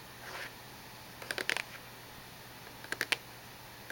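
Long nails and fingertips tap on the top and edges of a small, hollow cube-shaped cardboard tissue box with a glossy printed surface and tissues inside. Quick clusters of crisp, bright clicks arrive in two short bursts, with a soft brush near the start and another tap at the end. Each tap dies away almost instantly over a faint steady hiss.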